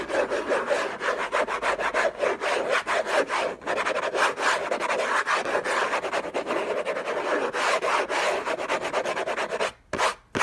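Fingernails scratch fast and hard across the textured paper lid of a hollow orange Hermès cardboard gift box. A dense, steady run of dry rasping strokes with a hollow midrange body goes on for almost ten seconds, then briefly stops before one last short scratch.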